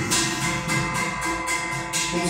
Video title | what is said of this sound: Franklin 31/03/2022 | o extintor de água tem esse barulho, como se fosse um sino, né? Dá a impressão que está vazio.